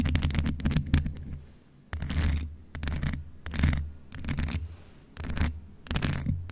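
Long acrylic nails of both hands scratch the rounded mesh grille head of a hollow grey metal USB condenser desktop microphone. The result is a series of rough, scraping bursts dominated by a heavy low rumble, with brief bright crackles at the start of each stroke.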